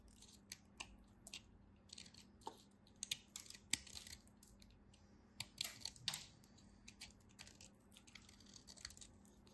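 A small remaining chunk of solid orange bar soap, held in the fingers, is cut and shaved with a utility knife blade as crumbs fall off. Quiet, bright, crisp scraping clicks and crackly shaving bursts come in irregular clusters over a faint steady low hum.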